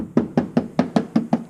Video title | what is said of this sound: Solving The Nissan 370z Rattle Problem | even all the way to the edge it's got that rattle sound